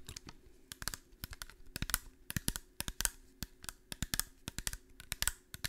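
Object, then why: Small clear glass bottle. A small, clear, empty-looking glass bottle is held in one hand and tapped and scratched with long painted nails. The result is an irregular, fast run of sharp, bright clicks and brief scratchy rasps that stop dead with almost no ring. A faint steady low hum sits underneath.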